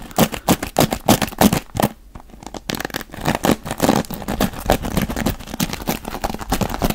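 Fingertips rake and scratch the dark bristles of a wooden paddle hairbrush in quick, uneven strokes. Each stroke gives a dry, crackling scrape with a bright edge. The scratching briefly quiets near the middle, then resumes at a steady, busy pace.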